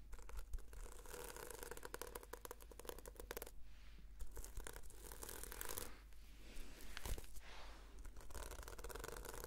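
Long nails scratch across the sequins of a red sequin-covered notebook, making dense, crackly ticking bursts with bright, scratchy texture. A steady low hum runs underneath, and brief pauses break up the rapid flicking.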